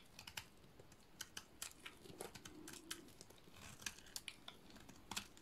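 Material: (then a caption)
Soap. A solid cream-colored bar of dry soap, held in one hand, is shaved with a utility-knife blade so curls fall away. The result is a quiet, uneven series of crisp, bright scraping clicks and short cutting strokes, each dying away almost instantly, over a faint hiss.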